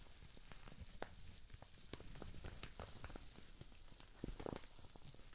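Green plastic bubble wrap with small air bubbles is twisted and squeezed between the fingers, popping many bubbles. Sharp, short snaps burst over a steady bright crinkling hiss, with a cluster of louder pops near the end.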